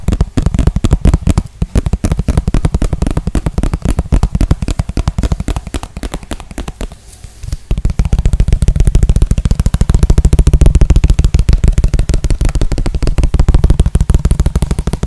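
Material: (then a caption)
Plastic. A small, transparent, hollow plastic container is turned upside down and tapped rapidly on its base and sides with the fingertips. The result is a dense stream of short, dry, low hollow taps that briefly thins out around the middle before resuming more strongly.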